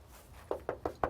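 Four knocks on a shop wall that has shifted and is held up by props because it risked collapsing onto customers. Each knock gives a short, dull, mid-pitched thud with almost no ring. The wall sounds hollow, a sign of a construction defect.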